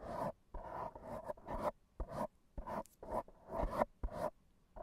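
A black foam microphone windscreen is scratched and rubbed with AA batteries worn on the fingertips. About a dozen short, dry scratching bursts with soft rubbing texture come in quick succession, separated by brief silences.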